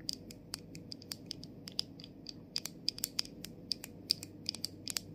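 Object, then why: Plastic cap of a body mist bottle. Long nails tap and scratch the top of the clear, hollow plastic cap of a plastic body mist bottle, with its gold sprayer inside. The result is an irregular series of sharp, bright clicks with a faint high ring, each dying out almost instantly over a low, steady background hum.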